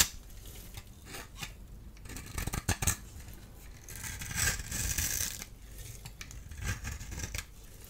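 A solid orange-and-white striped dry soap bar, held in the hand, is shaved and scraped with a small blade tool, sending orange crumbs falling. Crisp, dry scraping and crumbly shaving sounds with a bright hiss are broken by a few sharp clicks near the middle. A longer, louder scrape follows before the sound settles back to quieter shaving.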